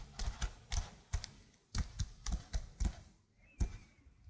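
Long blue nails type quickly on a slim black plastic computer keyboard, giving a run of short, dry key clicks. Each click has a low thud and a bright tick that die away almost at once, with brief pauses between bursts.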